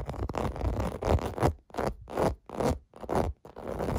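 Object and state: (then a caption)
Plastic bubble bath mat being scratched. Fingertips and nails scratch the domes of a clear blue plastic bubble bath mat. The scratching comes as dry, rasping bursts, one long stretch and then several shorter strokes separated by brief pauses. The sound is dull and low-heavy with little brightness.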